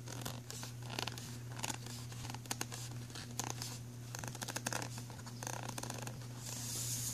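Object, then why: Ridged plastic pencil tray. Fingernails scratch an empty black ridged plastic pencil tray, then fingertips rub across its grooved surface. Dry, bright scratching and rasping bursts with small clicks come and go over a steady low hum, ending in a longer rising hiss of rubbing.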